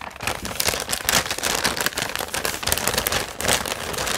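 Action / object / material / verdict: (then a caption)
scrape / kraft paper bag / paper / none. Fingertips grip, rub and crinkle the sides of a large, hollow, seemingly empty brown kraft paper bag held up in the air. The result is a steady run of bright, papery crackling and rustling with quick snaps throughout and little low-end weight.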